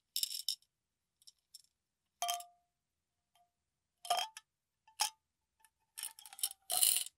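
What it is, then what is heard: Glass jar of small beads being shaken. A clear glass mason-style jar with a metal lid, partly filled with small purple beads, is held in the hand and tilted and shaken so the beads roll and rattle against the glass. The result is irregular bursts of bright, crisp rattling with quiet gaps between them. Some bursts carry a brief glassy ring around 700–800 Hz.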